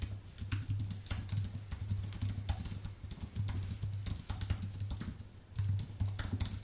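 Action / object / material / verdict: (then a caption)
tap / low-profile keyboard with plastic keycaps on an aluminium base / plastic, aluminium / none. Fingertips type fast on a white, full-size Apple Magic Keyboard with plastic keycaps on an aluminium base. A rapid run of short, bright key clicks sits over a steady low hum.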